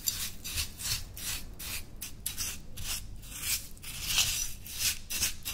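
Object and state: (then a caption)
Coarse salt scrub stirred in a glass cup. A metal teaspoon held in the hand stirs and scrapes through white coarse salt scrub in a small, stemmed, clear glass dessert cup that sits open and mostly full on a white towel. Repeated gritty, bright crunching strokes of the granules mix with the spoon grazing the glass, and long red nails stay clear without striking it.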